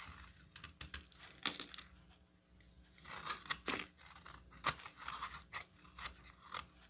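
A metal box-cutter blade shaves the flat face of a solid cream bar of soap, peeling off fine white shavings. A series of quick, crisp, bright scraping crunches comes in short bursts, with a brief quiet pause in the middle, over a low steady background hum.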